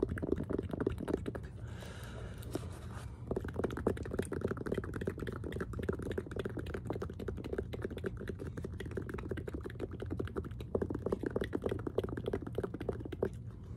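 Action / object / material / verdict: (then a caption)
tap / sneaker with suede upper and rubber heel / suede, rubber / none. Fingertips and short nails tap and scratch a hollow, empty black and yellow Air Jordan 4 style sneaker held in the hands, mostly on its rubber/plastic heel and its suede-like upper and mesh side panels. A steady stream of quick, dull, muffled taps with short scratchy rubs plays over a low background hum, with a brief softer, brighter scratching passage near the two-second mark.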